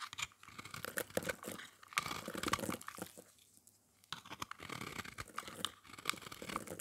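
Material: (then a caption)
Soap. A metal blade shaves and scrapes an oval, solid, orange-painted dry soap bar held in the hand, producing crunchy shavings. Dense, bright crunching and scratching bursts fill the clip, with a brief quiet pause in the middle before the scraping resumes.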